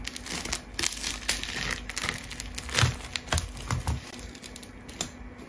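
A rainbow-layered plastic tape ball is cut with a craft knife and squeezed by hand, giving dense, bright crinkling and crackling with sharp tearing snaps. A few fuller, louder squeezes with low thumps land near the middle of the clip, and each sound dies away quickly.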